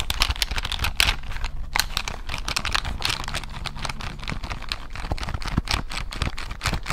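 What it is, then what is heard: Plastic calculator buttons. A handheld plastic desk calculator with an LCD screen and push buttons is held up close while its buttons are pressed and tapped with long nails and fingertips. The result is a quick, uneven stream of sharp, bright plastic clicks and taps that die away almost instantly, over a low steady hum.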